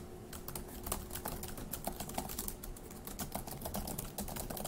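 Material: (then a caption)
Plastic. Fast two-handed fingertip typing on a dark grey laptop keyboard with plastic keys produces a dense, continuous stream of short, bright clicks and taps. A faint steady low tone and low rumble sit underneath throughout.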